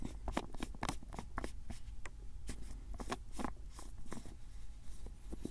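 A labeled white and grey plastic screw-cap jar is tilted and handled while fingertips twist and tap its lid. A quick series of short, dry clicks and taps with bright crackly edges sits over a steady low rumble.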